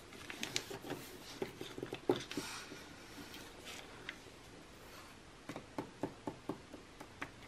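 Long nails tap and scratch across the same page spread of an open glossy magazine lying flat on a table, its thin coated paper giving crisp, papery clicks. Scattered light taps and scratches open the clip, give way to a soft, brushing scrape in the middle, then return as a quick run of sharp, quiet taps toward the end.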